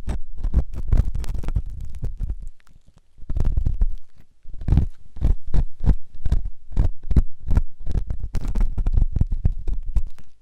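A metal ear pick scratches inside the canal of a white solid silicone ear on a binaural microphone. Close, deep rubbing and thumping scrapes come in rapid bursts, with brief quieter gaps near 2.5–3 seconds and around 4 seconds. The sound is muffled and almost entirely low, with a bassy thud of about 62 Hz.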